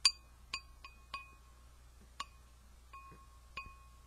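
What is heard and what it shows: A small, clear, empty drinking glass held by hand is tapped with a yellow plastic highlighter. A series of separate light taps each give a bright, ringing chime-like tone with a sustained mid partial, over a quiet low hum.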